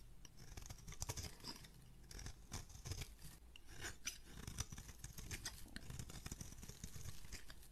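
A metal razor blade scrapes an oval blue and white striped solid bar of soap flat in repeated strokes, and shavings fall away. The scraping is soft, dense and crackly, with a low rumbling body and a bright, raspy edge that swells and fades with each pass.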